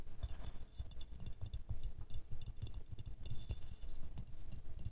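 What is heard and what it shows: Medium-long fingernails quickly scratch and tap the glazed petals of a small silver-glazed ceramic rose ornament held in the hands. The result is a fast, steady patter of soft, muffled low knocks mixed with bright, glassy clicks and scratchy ticks, each dying away almost at once.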